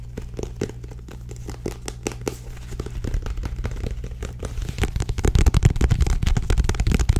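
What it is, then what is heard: Paperback book. Long nails tap on and grip the back cover of a small, solid paperback book with a purple and tan card cover. The result is a quick, uneven run of dry, crinkling taps over a steady low hum. The tapping grows denser and louder toward the end.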